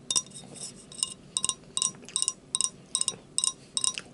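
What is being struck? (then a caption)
Glass drinking glass. A drinking glass is tapped repeatedly during a meal, giving about 13 bright, high-pitched clinks in irregular pairs and singles. Each clink rings briefly at a very high pitch and dies away almost at once.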